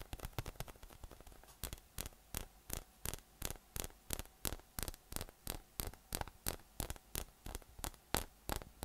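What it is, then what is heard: PVC spiky massage ball. A yellow, hollow, air-filled inflatable PVC spiky massage ball with nubs is held in one hand and tapped with the fingertips. The result is a long series of quick, dull, hollow taps with bright edges, about three per second, each dying away almost at once over a low, steady hum. The tapping starts fast and cluttered, then settles into more evenly spaced single taps.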